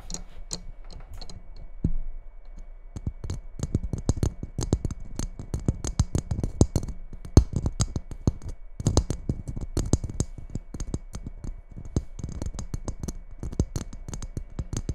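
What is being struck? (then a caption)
Glitter-coated Christmas bauble. Long nails rapidly tap and scratch the surface of a red glitter-coated Christmas ball ornament held on top of a microphone. The result is a dense stream of short, dry clicks and scratchy taps with bright crackling highs over a low, thumpy body. The hits are packed closely with only brief pauses.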